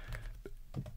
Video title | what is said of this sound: $6000+ BOX! - 2020-21 Panini National Treasures Basketball FOTL Hobby Box Review | I always shake the box, hoping all of a sudden you hear a clank.